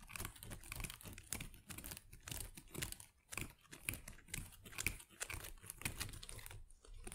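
Long acrylic nails tap and scratch the small plastic leaves of an artificial potted plant. The result is a quiet, irregular stream of crisp, bright crinkling and rustling clicks over soft low thumps, each sound short and dry with almost no ring.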